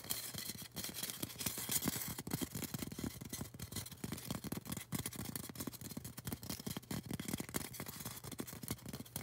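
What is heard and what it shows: Long orange acrylic nails rapidly scratch and tap a tall, solid white polystyrene foam cone. The result is a dense, steady stream of dry, scratchy clicks and soft low thuds with bright hiss on top. Each hit dies away almost instantly.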